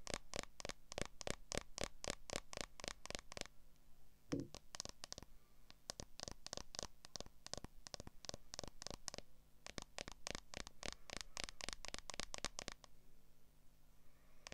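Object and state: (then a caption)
Smartphone in a clear plastic case tapped with long nails. Long acrylic nails scratch and tap the back of a smartphone in a transparent plastic case, near the camera, while the phone is held in both hands. Quick runs of dry, bright plastic clicks and scratches come in bursts, with a duller knock around 4 seconds, a brief pause near 9.5 seconds, and a faint low hum underneath throughout.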